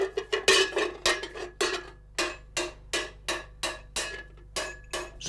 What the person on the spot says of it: Sa forme creuse et la composition métallique de la sonnette ont totalement modifié la qualité sonore.